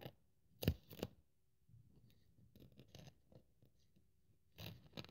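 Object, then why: Thin polyethylene foam sheet. A thin white polyethylene packing foam sheet rests on a wooden table, held by fingertips with long nails, and is cut and scraped with a craft scalpel blade. Two sharp, bright slicing strokes come early, followed by softer, low scratchy scraping and rustling, and then another crisp cutting burst near the end.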